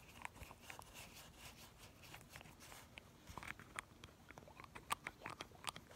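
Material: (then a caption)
Glass. A small pink glass nail polish bottle, partly full of polish, is held in one hand while the fingertips of the other hand pump the plastic cap and its brush up and down inside the neck, close up. The result is a quiet, irregular run of sharp, dry clicks and taps with bright ticks over a faint, wet slosh. The clicks grow louder and more distinct toward the end.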